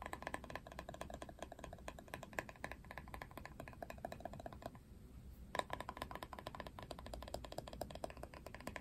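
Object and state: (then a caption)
Hollow plastic paddle hairbrush. Fingernails rapidly tap and scratch the hollow plastic back shell of a paddle hairbrush printed with a Barbie face, making dense, dry clicking with a hollow knock around 1 kHz over a low, steady hum. The taps pause briefly near the middle, then resume with a sharp, louder tap and continue to the end.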